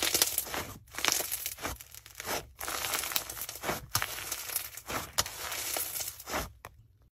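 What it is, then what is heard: Foam-bead slime (floam) being squeezed. A soft mass of yellow foam-bead slime (floam) packed with tiny foam beads and black bits is squeezed, folded and pulled apart by bare hands. It gives dense, bright crunchy crackling and popping in quick bursts with short pauses between squeezes. A faint steady high tone runs underneath until the sound fades out at the end.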